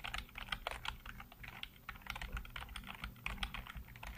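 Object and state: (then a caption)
Plastic computer keyboard. Fingertips type rapidly on the keys of a black plastic backlit computer keyboard. The result is a dense, continuous stream of short, sharp clicks and clacks that die away almost instantly, with a faint low hum running steadily underneath.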